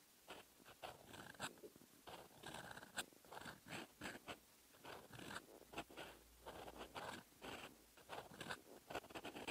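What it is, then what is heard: Fountain pen nib writing on paper. A metal fountain pen nib scratches across a lined paper page of an open notebook, writing in red ink. Short, dry scratchy strokes come in quick bursts with brief pauses between them. The sound is crisp and bright with little low end.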